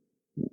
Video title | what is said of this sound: Grządka (prawie) permakulturowa #permaculture #pumpkin | it makes a dull sound. Listen to the sound when you knock on it.